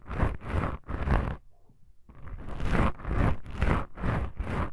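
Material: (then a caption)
Foam. Long pink nail tips scratch black foam microphone windscreens with both hands, making soft, scratchy rasping strokes on the foam. The strokes come in repeated bursts with a brief quiet pause in the middle, and the sound sits mostly low and muffled with little bright content.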